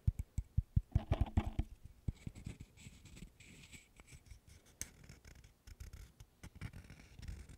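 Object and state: Wooden burr puzzle.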